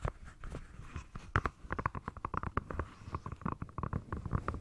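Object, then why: Rubber swim fin. Long nails tap and scratch the surface of a single dark grey rubber swim fin with a hollow foot pocket, held near a furry microphone. About two dozen quick, dull taps land in irregular bursts, each with a soft low thud and a muffled rubbery knock near 1 kHz. Faint scratching sits between them, with almost no bright edge.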